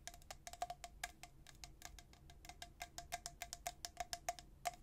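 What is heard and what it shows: A tall, hollow, white-coated stainless steel travel tumbler with a black plastic lid is held in one hand and tapped on its body by the fingertips and nails of the other hand. About thirty quick, quiet taps each give a bright click with a short metallic ping near 700 Hz that dies away almost at once.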